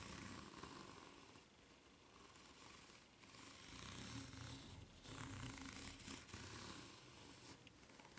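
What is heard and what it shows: A white ridged rubber flip-flop sole is held bottom-up while long nails scratch across its serrated ridges. The result is a continuous, soft, rasping scrape with a bright hiss and a low rumble, rising and falling slightly in loudness.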